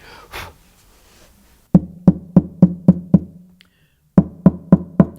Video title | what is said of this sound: ERVIN SOMOGYI 01 - GUITAR MAKER - The Air Pump - Tap Tone | this is the voice of the soundbox at this point in time